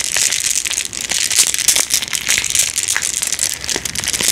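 A small bag of blue glass marbles in a white plastic mesh net with a paper tag is held in both hands close up and squeezed and shaken. The marbles clack and rattle together in a dense, continuous stream of bright, crisp clicks mixed with crinkling from the mesh. There is almost no low end, and each click dies away quickly.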